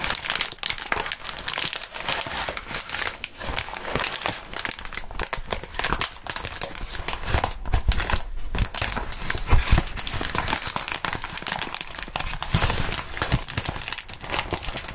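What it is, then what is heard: Plastic bubble wrap being crinkled. A clear polyethylene bubble wrap sheet with hollow bubbles hangs from both hands and is crumpled and rubbed between the fingertips of fingerless-gloved hands. It makes a dense, continuous crinkling with rapid crackly ticks and bright, rustling texture over a low rumble, steady throughout with no pauses.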